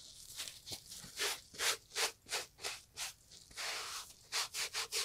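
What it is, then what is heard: Leather loafer being scrubbed. A gloved hand scrubs the upper of a brown Italian leather loafer with cream textile panels, hollow with a shoe tree inside, using a green and yellow sponge during restoration. About a dozen bright, hissy rubbing strokes come in an uneven rhythm, with a longer continuous scrub near the end before a quick run of short strokes.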